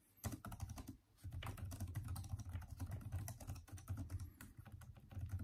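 Fingertips of both hands type fast on the backlit, hollow-keyed plastic keyboard of a Microsoft Surface-type laptop. The result is a dense stream of short, dull key taps with a low, thumpy body and little ring, broken by a brief pause near the one-second mark.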